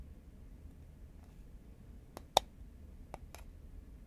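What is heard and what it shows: Fingernails tap the side of a tall cylindrical composite paperboard Pringles can held horizontally in both hands. Quiet, dry clicks sound against near silence, with one sharp, brighter tap standing out around 785 Hz and dying away instantly.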